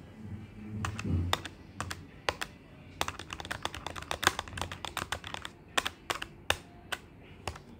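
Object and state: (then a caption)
Plastic desktop calculator keys. Fingertips tap fast on the plastic keys of a black plastic desktop calculator with a hollow body, making a rapid, irregular run of short, dry clicks. Each tap is sharp and bright and stops almost at once, over a faint low rumble that swells briefly near the start.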